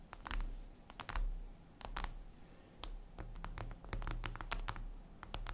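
Long red nails tap rapidly on a flat, glossy black glass surface, likely a tablet screen. The result is a quick, uneven run of sharp, bright, typing-like clicks over a steady low hum.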